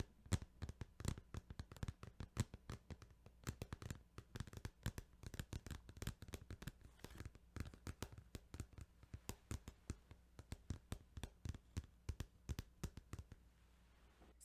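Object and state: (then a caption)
Plastic game case. Fingertips tap rapidly and continuously on a plastic Final Fantasy 8 video game case, making quick, dry, soft clicks with a dull low body that die away almost instantly. A faint steady low hum runs underneath.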